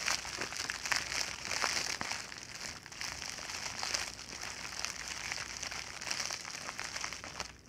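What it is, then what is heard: Plastic mailer bag crinkled. An empty white plastic poly mailer bag is held open and crinkled and squeezed with both hands and fingertips. The result is a steady stream of bright, crisp crinkles and crackles with almost no low end, fading slightly at the close.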